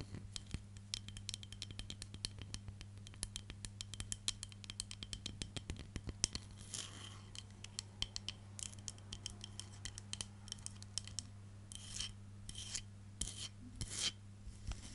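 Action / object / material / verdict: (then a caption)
scrape / wooden back of a hairbrush / wood / none. Long nails scratch and rub across the solid, light wooden back of a hand-sized hairbrush, producing rapid, quiet, dry ticks and clicks. Short, brighter rasping strokes are mixed in, over a steady low hum.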